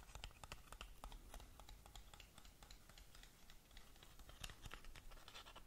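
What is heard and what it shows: Long nails scratch rapidly along the sides of a long, narrow, black cardboard lip gloss box that is hollow and closed. A quiet stream of dry, crackly scratches and bright ticks sits over a soft low rumble.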